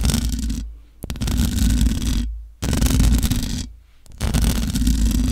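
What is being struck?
Metal mesh microphone grille.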